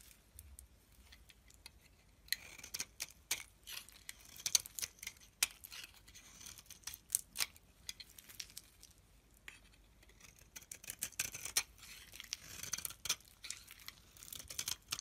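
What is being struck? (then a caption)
Bar of soap scraped with a metal blade. A solid cream-white bar of soap, held in the hand, is scraped with a metal blade into flakes. Quiet, bright, crisp scratching and rapid clicking crackles come in bursts, with brief lulls near the start and around the middle.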